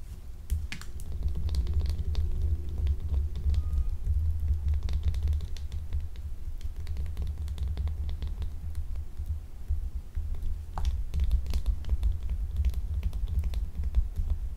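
Long acrylic nails scratch and pick at a small, solid, translucent blue gemstone-shaped glycerin soap held in one hand. Dense, crisp ticks and bright scratches patter throughout over a steady low throbbing hum.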